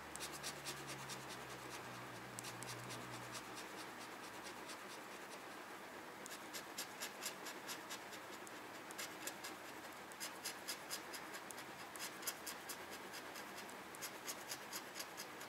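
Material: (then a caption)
Paper. A red plastic pen-like tool scratches off the coated number boxes on a small flat paper scratch-off parking coupon resting on a white desk. The result is a quiet run of dry, bright scratching strokes in irregular bursts. A faint low hum sits underneath during the first few seconds.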